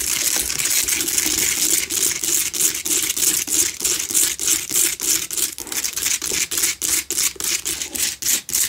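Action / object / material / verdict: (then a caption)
scrape / rock-salt lamp scratched and tapped with long fingernails / rock salt / none. Long acrylic nails on both hands rapidly scratch and tap the rough surface of a small, lit, pink rock-salt Himalayan salt lamp, a solid hand-sized chunk with a cord, standing on a table in the dark. The result is a bright, hissy scraping layered with quick, dry ticks in a fast, uneven rhythm, each tick dying away almost at once.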